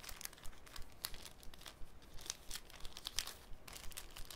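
A thin sheet of clear cellophane, folded into a small flat rectangle, is squeezed, bent and crinkled between the fingertips of both hands over a wooden table. Quiet, steady crinkling is broken by frequent sharp, bright crackles and snaps, each dying away almost instantly, under a faint low rumble.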